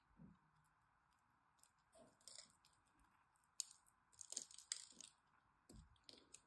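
A blade cuts into and scrapes across the crosshatch-scored face of a solid green dry soap bar, crumbling small cubes off. The result is a series of crisp, bright crunches and clicks with quiet pauses between, over a faint steady hiss.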